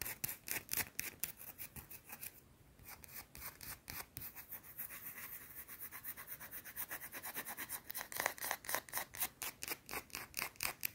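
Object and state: Bar of soap being scratched.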